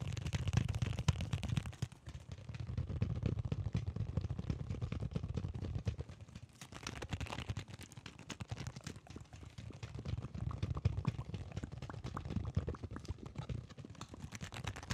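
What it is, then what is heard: Sealed cardboard and plastic blister toy package. A Digimon toy still sealed in its retail package, a flat cardboard backing card with a clear plastic blister, is held in both hands and tapped with the fingertips. It makes a dense, continuous patter of soft, dull, low-pitched taps that stop almost instantly, with a few brief quieter stretches.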